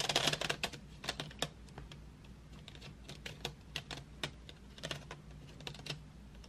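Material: Wood.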